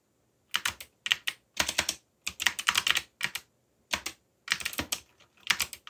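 Fingertips tap the plastic keycaps of a backlit mechanical computer keyboard while typing. Quick bursts of bright, crisp clicks come in uneven runs separated by short pauses, each click dying away almost instantly with very little low end.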